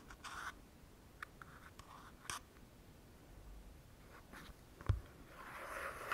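A pink plastic cosmetic cream tube with a cap is held in the hands and scratched and tapped with fingernails. Soft, dry clicks and brief scratchy rustles come in scattered bursts over a quiet background, with one sharper tap near the end.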